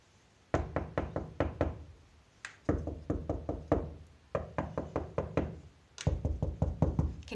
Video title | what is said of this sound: Behind the scenes at Normanby Hall: Secrets of the Regency Bedroom | you hear that that's hollow there so that's a false wall that's been put in